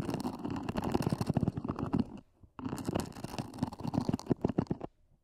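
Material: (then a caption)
EVA foam. Long nails scratch rapidly across the lid of a small, hollow, black zippered EVA hard-shell earphone case near its edges. The result is a dense, low, hollow rumbling scrape in two bursts separated by a brief pause.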